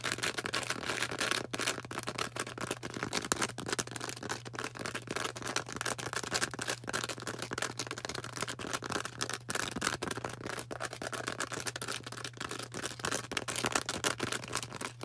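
Long orange nails rapidly tap and scratch a bright green porous floral foam star held in both hands. The result is a dense, continuous stream of crisp, dry clicks and scratchy rasps that stop instantly with no ring, over a faint steady low hum.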